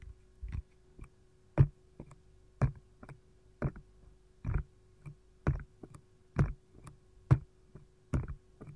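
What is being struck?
Silicone ice cube tray.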